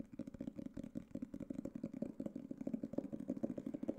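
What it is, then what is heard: Hardcover book. A solid black hardcover book is tapped rapidly with fingertips and nails, about two dozen quick taps over four seconds. The taps are dull, woody knocks centered in the low-mids with almost no brightness, and each one stops at once without ringing.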